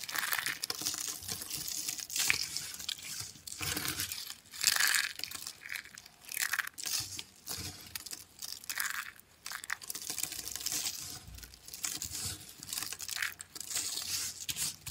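A pile of brittle, dry black and white soap flakes on a white surface is scooped up, then crushed and crumbled between the fingers of both hands. The result is dense, bright crunching and crackling that comes in repeated bursts, with very little low end.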